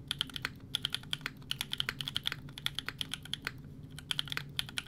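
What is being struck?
Mechanical keyboard with ABS plastic keycaps.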